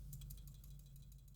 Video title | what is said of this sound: Burson Audio Conductor 3X GT Review - A Loaded Headphone Amp Powerhouse | when it's metal on metal you can hear a little bit of a rattle now that's literally just the buttons